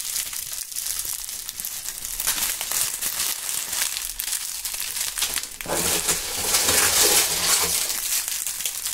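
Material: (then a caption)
Dried leaves. Bunches of dry, brittle brown maple leaves are held in gloved fingers and crumpled and rubbed close to binaural microphones. The result is a steady, bright crinkling and crackling, and it turns into a louder, fuller crunch partway through.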